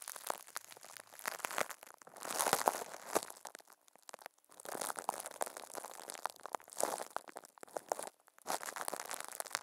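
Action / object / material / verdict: scrape / thin plastic film wrapped over a microphone / plastic film / none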